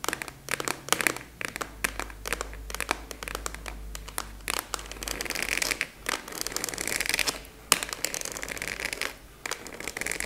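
Long nails tap and scratch a large purple translucent plastic expanding file folder with a clasp, held upright. The result is a steady stream of quick, crisp taps and bright crinkling scratches with no ring after each one.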